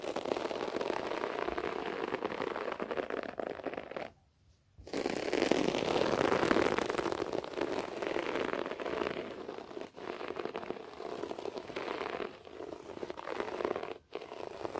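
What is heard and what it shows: Fingernails scratch a beige short-pile floor carpet close up, making a steady, dense crackling rasp with a fibrous, mid-to-bright hiss. The scratching stops briefly around four seconds, then resumes louder before easing off, with another short pause near fourteen seconds.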